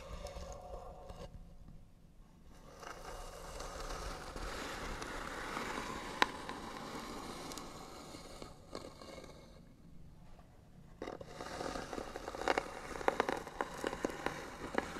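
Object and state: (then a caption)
Wooden box scratched with fingernails. Short fingernails scratch the lid of a hollow white wooden box held steady by one hand, making a dry, gritty scraping with a midrange bite. The scratching comes in slow, uneven strokes, with near-silent pauses around 2 and 10 seconds. Sharper ticks and clicks stand out near 6 seconds and through the last few seconds.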